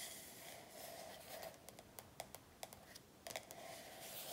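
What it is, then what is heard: Paperback workbook. Long nails on both hands tap and scratch across the glossy front cover of an A4 paperback workbook lying flat on a table. A soft, steady scratching hiss runs throughout, broken by about ten short, bright clicks that die away almost instantly.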